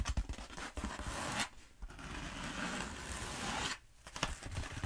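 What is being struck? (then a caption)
Bead foam roller. Long acrylic nails scratch down the surface of a long black bead foam roller held upright. Two long, bright, rasping scrapes are separated by short near-silent pauses, with light low bumps at the start and end.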